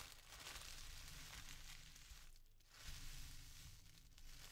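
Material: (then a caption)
Paper. Fingertips with painted nails press, rub and crinkle thin white tissue paper with sticker seals, a soft, flexible sheet wrapped around a folded tee shirt on a table, as it is folded open. A steady, bright crinkling and rustling runs over a low rumble, easing briefly about halfway through before picking back up.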